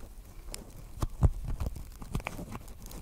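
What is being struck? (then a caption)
Woven plastic basket. A small, hollow pink basket woven from plastic strips is held on top of the microphone and tapped and scratched with long nails. Soft, dull low thumps mix with brief scratchy ticks that stop almost instantly, over a quiet rustling background.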